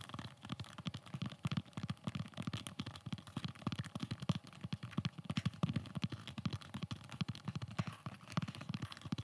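Fingertips and nails rapidly tap and scratch a hollow, empty black molded polymer (kydex) double magazine carrier held in the hands close to the microphone. Dense, quick, short clicks and hollow low knocks mix with a thin, bright scratching texture, and each tap dies away almost at once.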